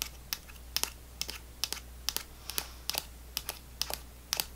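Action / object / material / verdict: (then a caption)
tap / laminated plastic foil pouch with plastic spout cap / plastic foil / none. A small, apparently full GoGo Squeez apple sauce pouch made of laminated plastic foil, with a plastic spout cap, is held in one hand and tapped and scratched with long fingernails. About sixteen sharp, bright, clicky taps come in quick pairs and singles, each dying away almost instantly. Faint crinkly scratching and a steady low hum sit underneath.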